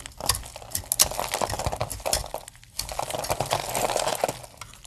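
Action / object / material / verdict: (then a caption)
scrape / soap bar cut with a metal blade / soap / none. A metal blade chops and shaves brittle plates off the end of a hand-held, palm-sized, solid opaque blue dry soap bar. Crisp, dry cracks and snaps mix with a bright, crumbly crackle; a short lull comes midway, then a steadier run of shaving. Each crack dies almost at once with no ring.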